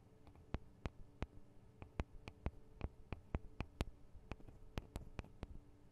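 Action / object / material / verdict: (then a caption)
tap / metal and plastic microphone capsules of a handheld recorder / metal, plastic / none. Long acrylic nails tap and scratch on the two small hollow microphone capsules, with metal and plastic housings, of a Tascam DR-40 recorder. About 18 sharp, dry, clicky taps land at an uneven pace, each dying out instantly. They sit over a quiet, steady low hum with faint scratching between them.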